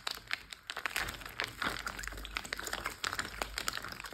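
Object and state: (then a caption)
Water-filled plastic bag. A large clear plastic Ziploc bag filled with water lies flat while fingertips and short nails on both hands tap and scratch across the plastic. Quick, dense crinkling taps and bright scratchy rustles follow one another with a soft low wash underneath.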